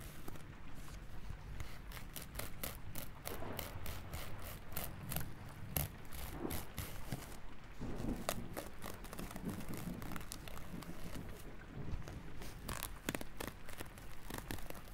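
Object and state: Feather rubbed close up.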